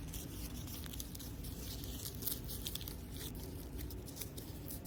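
Plastic artificial grass decoration in a cafe is scratched and rubbed, giving a steady run of crunchy, crinkly, tearing sounds. Bright, brittle crackles flicker over a low constant rumble, with no single loud hit standing out.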